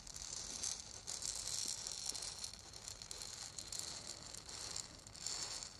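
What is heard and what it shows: A small, hollow, lacquered and painted wooden ball rattle is held in one hand and shaken. It gives a continuous, bright, gritty rattle with fast, dense clicks that swell and ease in uneven bursts, with almost no low end.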